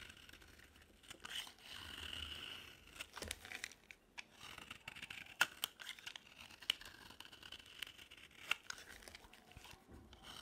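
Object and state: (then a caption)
Dry soap bar being carved. A solid green bar of dry soap, held in the hand, is repeatedly carved and scraped with a utility knife blade to make shavings. Quiet, bright crunchy scraping and crinkling strokes are punctuated by short, sharp clicks as the blade bites into the soap. There is almost no low end.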